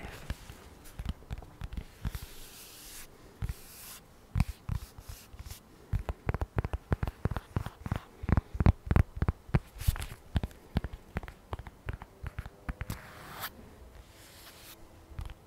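Long pink nails tap and scratch the outer surface of a lavender smart-folio style polyurethane/microfiber iPad cover with the tablet inside, the thin flat panel held upright in both hands. Dozens of short, dull, low taps land in an uneven rhythm, most densely in the middle. Brief bursts of soft, bright scratching hiss sit between them, and each tap dies away almost instantly.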